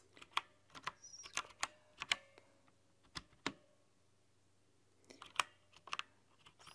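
Long nails type on a white-keycap, RGB-backlit plastic mechanical keyboard, producing sharp, bright clicks and clacks that come in irregular bursts with a pause in the middle. Each keystroke dies away almost instantly, over a faint low hum.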